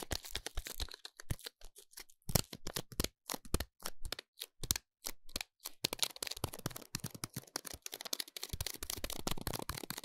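Fingertips and nails crinkle and scratch the silver foil wrapping a bar of soap, giving a dense run of short, sharp crackles with bright highs and a little low body. The sounds come in quick irregular bursts with brief pauses, growing nearly continuous toward the end.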